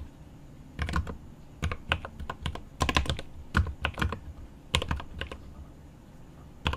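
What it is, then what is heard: Mechanical keyboard with plastic keycaps. One hand types rapid fingertip taps on a mechanical keyboard with plastic keycaps and an aluminum case. Irregular bursts of sharp key clacks, each with a deep thocky low body and a bright click on top, are separated by brief quiet pauses. Each keystroke dies away almost instantly.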